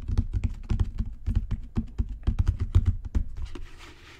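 Fingertips and nails tap rapidly on a solid, dark brown genuine leather book cover. The taps land as a quick, uneven patter of short, dull, low thuds with almost no ring. Near the end the tapping fades out, leaving a faint high hiss.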